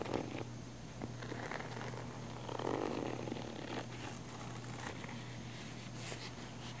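Long manicured nails scratch the textured fabric surface of a small, black, padded nylon zip camera case, hollow and held in the hand. A soft, continuous raspy scratching runs over a steady low hum, swelling louder and fuller for about a second midway before settling back to a quiet, even rasp.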